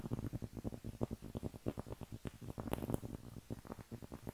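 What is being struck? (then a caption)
Cork trivet, thin solid cork disc. A round, flat cork trivet, a thin solid disc about 20 cm across held up in both hands, is scratched and tapped with long painted nails. About fifteen quick, soft, dull taps come in a rapid, uneven patter, mixed with light scratchy brushing. They sound muffled and low, with no ring, and a couple of sharper, brighter clicks come near the end.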